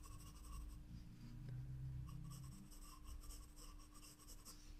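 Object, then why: Graphite pencil on paper sketchbook page. A graphite pencil held in the fingers scratches across a white drawing-paper page of a spiral-bound sketchbook lying flat on a table, making short shading and line strokes. The strokes come as soft, quiet, bright scratching in uneven bursts over a steady low hum.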